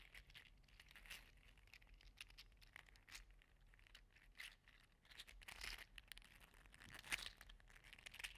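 A green and teal segmented 3D-printed PLA articulated slug toy is squeezed and wiggled in one hand, rattling its joints. The result is a quiet, continuous stream of bright, crisp clicks and crinkly rattles centered around 2 kHz, with occasional sharper bursts.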